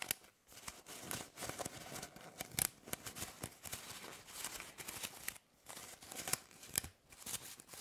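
A bundle of hollow plastic drinking straws is twisted and rubbed in the hands, giving bright, crinkly, scratchy rustling in quick bursts. A few brief quiet gaps break up the rubbing.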